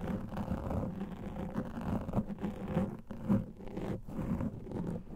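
Fingernails scratch and rub a large black foam microphone windscreen, producing a continuous, muffled, crackly rustling. The sound stays dense and low-weighted, with an irregular swell and fade as the scratching strokes shift.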